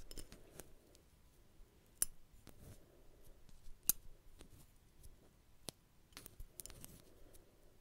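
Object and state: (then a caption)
Metal belt buckle. Fingertips and nails fiddle with and scratch a small metal buckle and its prong on a black belt, held in both hands just below the microphone. Quiet scratching and rustling are broken by sharp, bright, scissor-like metallic clicks that stop instantly with no ring, spaced irregularly across the clip.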